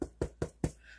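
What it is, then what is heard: Hollow-sounding baked-through bread loaf. Four knocks on a no-knead bread loaf baked in a cast iron skillet give short, dull, hollow thuds with little ring. The hollow sound shows the bread is baked through and done.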